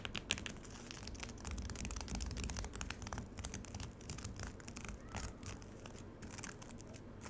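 Long acrylic nails scratch across the surface of solid frozen lemonade ice in a black rectangular plastic tray, with loose frost shavings coming up. Dense, fast, irregular bright scrapes and crackly ticks run throughout over a low rumbling bed.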